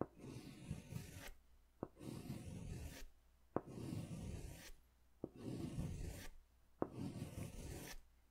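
A green pastel crayon makes long scratching strokes along the bottom of a large white paper sketch pad. Five separate rasping strokes are heard, each starting with a short sharp tap and fading into quiet pauses. The scratching is soft and gritty, with most of its weight in the low range.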